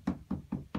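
Four short, dull knocks on a taut jute webbing strap stretched across the seat frame of a Louis XVI armchair being webbed, possibly taps on the webbing or tack hammering. Each knock has a low, drum-like tone with almost no brightness and dies away quickly. The webbing sounds right and has not sagged, showing good tension.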